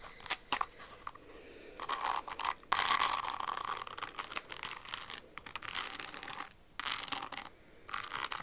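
Long acrylic nails scratch and tap a hollow red crystal-studded Jimmy Choo stiletto pump with a red crystal flower toe, held in the hands. Bursts of bright, gritty scratching alternate with quick clicky taps, separated by short quiet pauses. The sound is thin and high with almost no low end.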